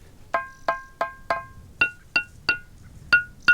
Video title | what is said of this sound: Teide - De Parque en Parque - La2 | La fonolita es una roca volcánica, fono, sonido, litos, piedra, que se caracteriza porque tiene esta increíble sonoridad.